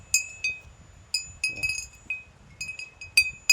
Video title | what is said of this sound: ফাঁকা মাঠে টুং টাং শব্দ কেন? # vlog # nature # village blog # natural view | এইটুকু শব্দ অত দূর থেকে শোনা যাচ্ছিল।